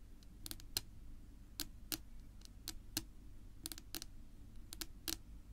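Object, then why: Wooden tabletop. Long natural nails of both hands tap on a flat, solid dark wood-grain tabletop, making a string of short, sharp, bright clicks, often in quick pairs. Each click dies away almost instantly over a low, steady hum.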